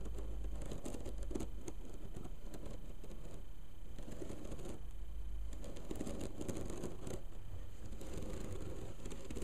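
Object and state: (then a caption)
Bamboo slat mat. Long pink nails on both hands scratch and tap rapidly along the thin slats of a flat bamboo mat bound with black thread. The result is a steady, dense patter of dry clicks and scratchy rustles with a low, muffled body. The level stays even throughout, with no pauses.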